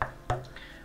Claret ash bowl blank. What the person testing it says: My ears can hear that as quite dense.